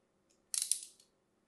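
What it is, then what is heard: Bar soap being scored with a blade. A thin metal blade scores diagonally across a solid, hand-sized, light green bar of soap held in the hand. A faint tick comes first, then a bright, crisp, half-second scratch concentrated in the high frequencies, with two sharp peaks before it fades out quickly.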